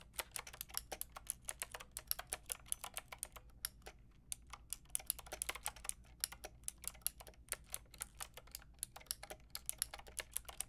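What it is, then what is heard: Plastic mechanical keyboard being typed on. Fingertips and long nails type steadily on a full pink, grey and white mechanical keyboard with round plastic keycaps. Dozens of short, bright, clicky keystrokes sound over a faint low hum, with a brief pause around the four-second mark. Each click dies away almost instantly.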